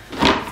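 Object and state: Baked-through sourdough loaf (hollow sound).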